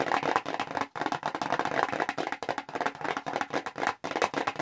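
Long acrylic nails tap quickly on a small square red Clinique cardboard product box held in the hands. The result is a dense, rapid run of dry, papery clicks centered in the midrange around 1 kHz, with almost no low end and no ring, broken by brief pauses near 1 second and 4 seconds.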